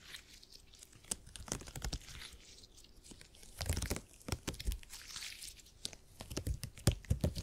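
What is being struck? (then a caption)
Elastic gel grid cushion. A purple gel grid cushion piece made of hyper-elastic polymer is stretched apart and squeezed between fingers. It gives irregular sticky crackles, crunchy pops and soft low thuds over a faint bright hiss, with louder bursts clustering toward the end.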